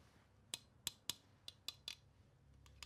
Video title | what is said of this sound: No time for FOMO but it keeps tempting me... | It's a metal thing, but it doesn't sound like there's anything in it. That just sounds like it's an empty can.